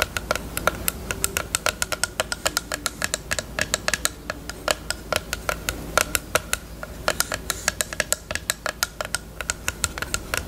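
Long nails tap rapidly on the lash tray area of a small, hollow pink plastic eyelash case with a mirror lid. Dozens of sharp, bright plastic clicks sound with a slight hollow ring near 1.4 kHz, each dying away almost instantly over a faint, steady low hum.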